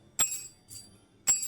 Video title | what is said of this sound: Napatunog din Ng maganda | Ibang tunog. Bingi pa rin siya.